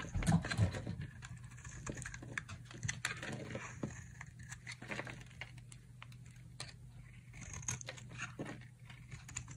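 A solid, dry yellow soap bar is held in the hand and carved with a metal utility knife blade into thin strips and shavings, while a pink bar rests untouched in the background. Quick, irregular, crisp scraping and crackling cuts follow one another with short, dry attacks and bright edges. A steady low hum sits underneath throughout.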